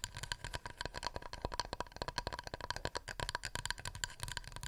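Fingernails tap a wooden plate in a rapid, continuous stream of dry, clicky taps. Each tap is short and dies almost at once, with a woody knock low down, a steady tone near 965 Hz, and bright, crisp edges.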